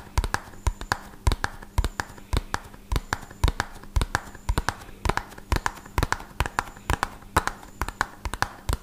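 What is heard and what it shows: A small, hollow, red-and-white printed cardboard medicine box, held in one hand, is tapped fast with the fingertips and nails of the other hand close to the mic. About 41 dry, short clicks and thumps land in quick, uneven bursts with almost no ring. A faint steady low hum sits underneath.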